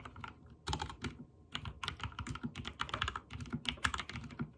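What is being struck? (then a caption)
Mechanical keyboard with plastic keycaps. A backlit mechanical keyboard with white and teal plastic keycaps is typed on with fingertips in rapid key presses. Quick, sharp clicky clacks come in uneven bursts, each with a brief bright tick over a soft low thud and almost no ring. Short pauses separate the flurries.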